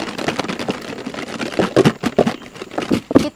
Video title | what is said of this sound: KUTIP TELUR DAN TERUS MASAK SAMBAL TELUR PUYUH MELETOP | kocak ni nak bagi kulit telur puyuh ni retak. Senang kita nak kupas.